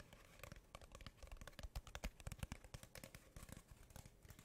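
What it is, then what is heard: Cardboard tube tapped with nails. Long painted nails rapidly tap the surface of a hollow brown cardboard tube held upright near the microphone. Each dry, quick tap pairs a low, hollow thump with a bright click and dies away almost at once, forming an irregular, busy patter that peaks in the middle of the clip.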